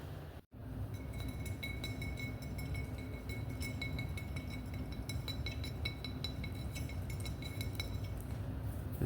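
A glass wine bottle is tapped repeatedly, giving quick, bright clinking rings with steady high tones over a constant low rumble. The taps come in a rapid, uneven series that runs through the clip after a brief silence near the start.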